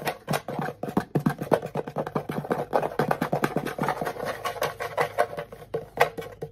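The back of a small hollow wooden ukulele, held upright on the lap with its strings facing away, is tapped and scratched with fingertips and nails. It gives rapid, dry, hollow knocks that die out almost at once, pitched around 500 Hz, mixed with light scratching between the taps.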